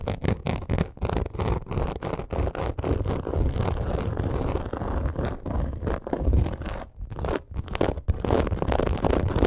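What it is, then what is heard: Croc-embossed leather purse scratched and tapped. Long acrylic nails rapidly scratch and tap the surface of a hollow, black crocodile-embossed leather purse. The result is a dense, low, rustling scrape with quick, dull taps that carry a hollow thump. The sound briefly thins out around the seven-second mark before the scratching picks back up.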